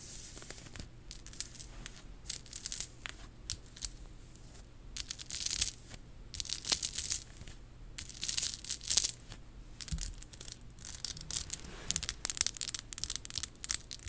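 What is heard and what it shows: Long pink acrylic nails tap and scratch across a worn, chunky faux pearl and rhinestone bib necklace. Bright, crisp clicks and scratchy rustling come in uneven bursts with short pauses between. A faint low hum sits underneath.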